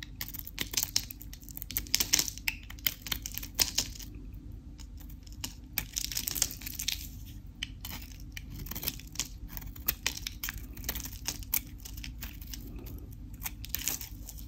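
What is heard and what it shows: A craft knife blade carves and scrapes a glossy pink painted coating off a solid white bar of dry Dalan soap held in a hand with long decorated nails, breaking off crunchy shavings. Dense, bright crackling and crisp scraping come in rapid bursts of sharp clicks that die away almost instantly, over a steady low rumble.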